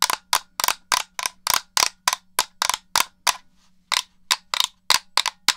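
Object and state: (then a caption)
Plastic game controller tapped. Fingernails tap the hollow shell of a black plastic Xbox controller and press its buttons, making 18 sharp, bright clicks with almost no ring. The clicks come in an uneven rhythm, with a short pause about two-thirds of the way through, over a faint low hum.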